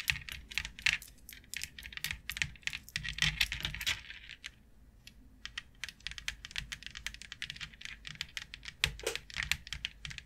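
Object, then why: Flat plastic board tapped with acrylic nails. Long coffin-shaped acrylic nails tap and scratch across a thin, rigid, flat white plastic grid board lying on a table, with both hands resting on it. Quick, bright clicks come in dense, irregular bursts, with a brief pause near the middle before the tapping resumes.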